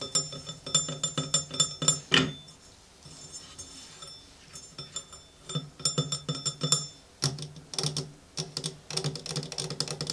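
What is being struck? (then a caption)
Manual coffee grinder with brass bowl. Fingertips and nails tap around the hollow brass hopper bowl and upper rim of a small antique manual coffee grinder with a white ceramic body labelled CAFE and a wooden base and drawer. Quick, bright metallic taps with short ringing tones come in uneven bursts, with a quieter stretch of soft handling in the middle.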